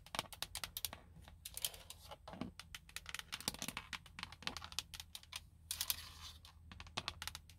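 Long blue nails tap and scratch the hollow, hard plastic airbag cover on a Nissan steering wheel hub. Rapid, bright clicking taps come in quick irregular runs, broken by short hissing scrapes, over a faint low hum. Each tap dies away almost at once.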